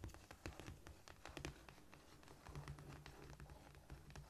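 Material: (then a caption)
Cork. Long painted nails of both hands scratch, scurry and tap across a flat, solid cork floor. The result is a quiet, rapid patter of short, dry clicks and scratchy rustles that stop almost instantly, over a soft low rumble.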